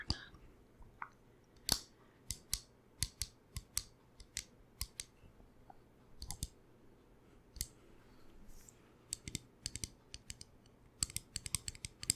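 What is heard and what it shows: A small wooden chalice-style cup with a shiny sealed finish is tapped in an irregular series of sharp, dry clicks. The clicks are bright and short, with little ring, over a quiet low background hum.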